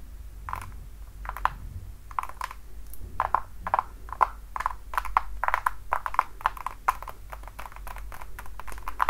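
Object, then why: Patent leather platform high heel. Long dark nails tap and scratch the platform and toe of a worn red patent-leather platform high heel with buckled straps. A rapid, uneven series of short, crisp clicks centered in the upper midrange, with brief scratchy bursts between them, plays over a faint low hum.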